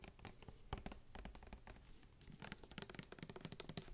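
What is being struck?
Plastic mouthwash bottle filled with liquid.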